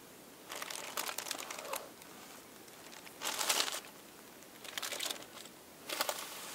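Thin purple and pink tissue paper sheets laid flat on a table are lifted, folded, smoothed and crinkled with fingertips and nails. Four bursts of soft, bright crinkling rustle stand out against a quiet background, with no low end.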